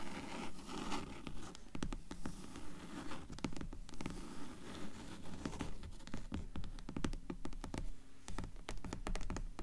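Long nails scratch and tap the cover of a black hardcover book lying on a table. Quick, fairly steady scratching strokes mix with sharp, dry taps that die away almost at once, with most of the energy sitting low and dull.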